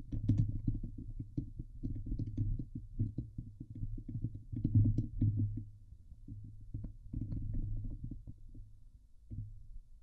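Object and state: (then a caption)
Metal mesh microphone grille being scratched. Fingertips and nails of both hands scratch the hollow steel mesh dome grille of a Blue Yeti microphone. The result is a dense, low, muffled rumble of rapid scratching strokes with faint brighter ticks, easing off in the middle before picking up again.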